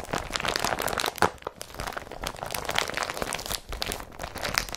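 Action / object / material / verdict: scrape / woven polypropylene plastic bag / polypropylene / none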